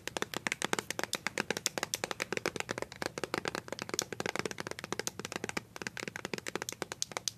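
Fingernails covered with paper clips tap quickly on a small white plastic BB cream squeeze tube with a blue cap. About 56 sharp, dry clicks follow one another in a rapid, uneven stream. Each click is bright and dies away almost instantly.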